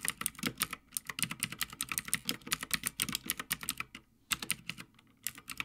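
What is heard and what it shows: Fingertips of both hands type continuously on a full-size backlit Havit mechanical gaming keyboard with plastic keycaps on a metal top plate. The result is a quick run of about 34 sharp, bright clacks with very short decay and a little low thock beneath. Brief pauses break the rhythm near the fourth and fifth seconds.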